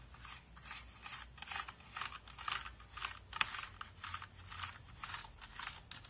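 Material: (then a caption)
Plastic. A small brush scrubs across the plastic keycaps of a backlit mechanical keyboard while a hand sweeps over the keys. Rhythmic bursts of bright, hissy scratching repeat steadily, broken by light clicks and one sharper click partway through.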